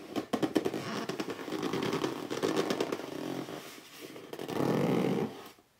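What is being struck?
Cardboard box.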